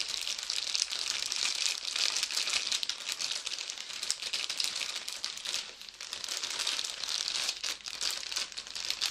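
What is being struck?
Thin plastic bag.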